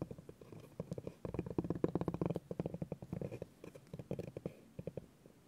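A spiky orange rubber massage ball is rolled and pressed by fingers across a flat, solid bamboo cutting board. It makes a low, knobbly rumbling of rapid, dry bumps that come in bursts, with brief pauses between them.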